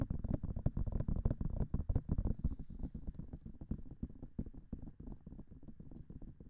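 Nails and fingertips tap quickly on the hollow silicone ears of a binaural microphone. The result is a rapid, uneven patter of dull, low, muffled thumps that die away almost instantly, with faint brighter clicks from the nails. The tapping eases slightly in loudness toward the end.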